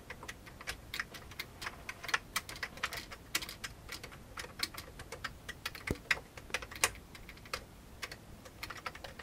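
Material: Plastic.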